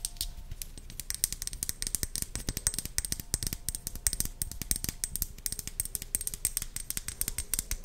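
Long blue nails tap and scratch on a small, hollow white plastic pump bottle with a red cap, held in the hand. Rapid, dense, crisp clicks and light scratching go on for the whole clip, each tick short and bright with almost no ring.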